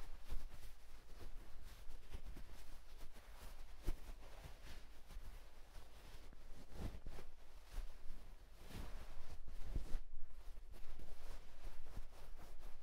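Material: Nothing is struck.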